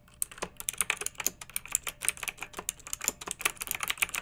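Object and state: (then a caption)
Plastic mechanical keyboard. Fingertips with long nails type continuously on a pink backlit plastic mechanical keyboard with round keycaps. The result is a quick, uneven run of about 26 crisp, bright clicks and clacks with almost no low end, each dying away instantly.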